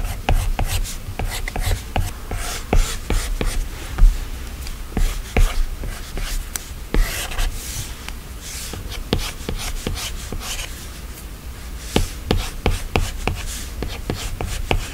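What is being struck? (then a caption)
Glass tablet screen with a plastic stylus. A plastic Apple Pencil stylus, held in the hand, scratches and taps along the glass screen of an iPad lying flat and solid while sketching. Short, sharp clicking taps are scattered through soft, brushing scratch strokes over a steady low rumble, and each tap dies away almost at once.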